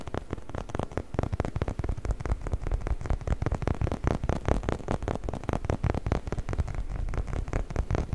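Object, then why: Hollow rubber chicken toy. A hollow, orange, bumpy rubber chicken toy, held in both hands, is scratched with fingernails along its textured surface. The result is a dense, steady stream of quick, dry scratches with a soft, rumbling low-end thump throughout.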